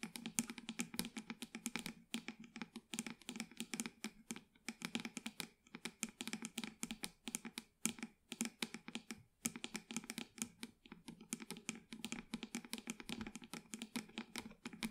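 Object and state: Plastic plant pot tapped and scratched with nails.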